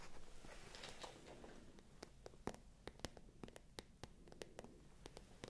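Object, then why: Patent vinyl-coated faux-leather handbag. Long acrylic fingernails scratch, then tap, the glossy surface of a small light-pink shiny patent (vinyl-coated) faux-leather handbag with a gold chain strap, hollow and probably empty, held close to the microphones. A soft, brushy scratching opens the clip and gives way to a run of crisp, bright clicks with almost no ring over a quiet low background.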